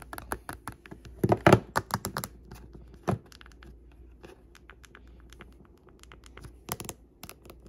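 Long pink-painted fingernails tap the solid glass front screen and the clear teal plastic case edge of an old iPhone lying face up on a wooden table. Short, dry clicking taps come in a louder, quick flurry early on, then continue as quieter, scattered taps, with a few firmer clicks near the end.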